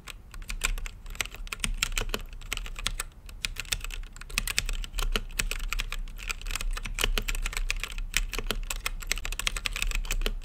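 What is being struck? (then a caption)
Mechanical keyboard, plastic keycaps on an acrylic case. Fingertips type continuously on a plastic mechanical keyboard with plastic keycaps on a translucent acrylic case, producing a rapid, steady stream of sharp, short clacks. The keystrokes are bright and clicky, centered around 2.5 kHz, and each dies away almost instantly over a constant low rumble.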